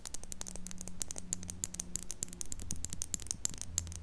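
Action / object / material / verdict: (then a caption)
tap / plastic eyeliner pencil / plastic / none. Long pink acrylic nails tap and scratch along a slim, double-ended plastic eyeliner pencil with a dark barrel and clear caps, held horizontally in both hands just above a mini microphone that is never touched. Dense, quick, bright clicks and scratchy ticks come in an unbroken stream, each dying away at once, over a low, steady hum.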